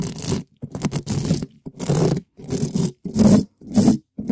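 A gloved hand scratches the side and top of a black metal mesh microphone grille, a hollow dome, with a red spiky rubber ball. Fast, loud, rough scraping strokes come in repeated bursts separated by brief silences, full and heavy in the low-mids with a gritty, bright hiss on top.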